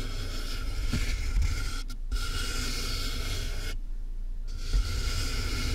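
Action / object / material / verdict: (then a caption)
scrape / corrugated cardboard box / cardboard / none. Fingertips and nails tap and scratch the top of a medium, closed, hollow corrugated cardboard box with a microphone inside it. The result is a continuous, dull, boomy rasp that is heavy in the low end, with short muffled thumps and brief pauses in the brighter scratching.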